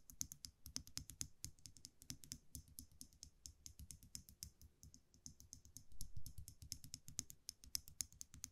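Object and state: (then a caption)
Metal eyelash curler clicking. A small metal eyelash curler is held in one hand while the fingers click its mechanism over and over. Quick, irregular metallic clicks with a bright ring ride over a soft low rumble, coming in rapid bursts throughout.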